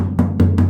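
Three knocks on the bottom of the rusted steel rear quarter panel of an HQ coupe give dull, low thuds centred around 90 Hz with a short ring. The panel sounds solid rather than full of dirt, because of a poor earlier weld repair in that spot.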